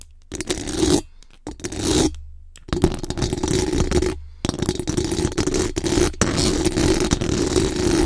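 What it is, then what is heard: Metal microphone grille being scratched. Extra-long acrylic nails on both hands scratch and tap fast and aggressively on the rounded metal mesh grille of a bare microphone's hollow head. This makes a dense, rasping scrape with a strong low boom and a steady hum-like band around 340 Hz. The bursts are broken by brief silent gaps, then build to a near-continuous, loud scratching toward the end.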